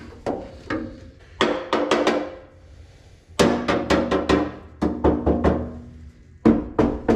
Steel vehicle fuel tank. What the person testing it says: It sounds empty, but is it?